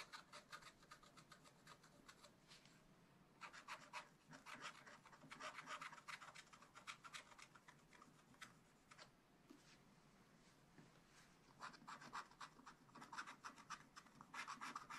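A wooden stylus scratches fine lines near the bottom of a black scratch art sheet in a small spiral pad. Quick, quiet, bright rasping strokes come in bursts with short pauses between them, each stroke dry and short with no ring.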